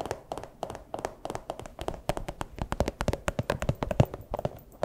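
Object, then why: Small plastic pouch. A small, empty, clear plastic pouch is crinkled and tapped with fursuit paw claws. Quick, dry taps and clicks come in a steady, uneven stream, with soft crinkling and a faint low thump under many of the hits.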